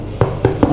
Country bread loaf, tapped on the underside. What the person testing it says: L'important c'est que le bruit sonne creux